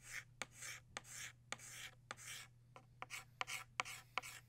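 A blue chalk stick rubs and scratches across a flat black chalkboard to shade in a butterfly drawing. Broad, bright hissing strokes alternate with short, sharp taps of the chalk against the board, with a faint steady low hum underneath.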